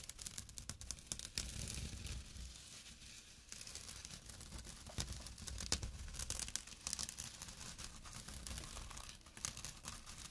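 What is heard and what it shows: Short nails scratch the coarse weave of a small, empty jute/burlap drawstring pouch resting on dark cloth. The result is a steady run of dry, rasping scratches with crisp, tearing bursts, bright and rough over a soft low rumble.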